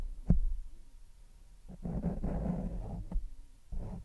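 A grey foam windscreen covering a large microphone is lightly rubbed and scratched with the fingertips and nails of one hand. The result is a muffled, deep rumbling rustle with a few sharp, dull thumps, almost all of its energy sitting low below 200 Hz.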